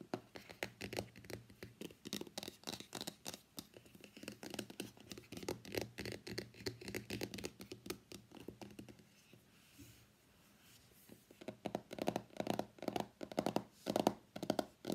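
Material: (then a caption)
Cardboard. Fingertips and nails tap the top edge of a small, hollow, closed white cardboard iPhone X box standing on a mat, then move to its printed back. Quick, dry, scratchy taps patter at an uneven pace, fading to a brief lull around the ten-second mark. They return as louder, fuller knocks.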